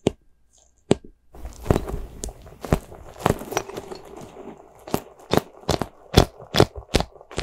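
A small white soft rubber spiky ghost squishy toy is squeezed in the fist and scratched with long nails. This makes a run of sharp, crackly scratches and crunchy squishes over a soft low rumble. Each stroke is short and bright and stops quickly without ringing.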